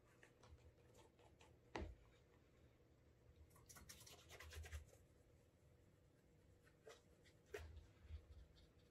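A cloth wrapped over the fingers rubs wax into the toe cap and upper of a brown leather Alden Straight Tip Blucher cap-toe dress shoe to build a wax burnish. A quiet, low, steady rubbing hush is broken by a few short, brighter swipes and soft knocks.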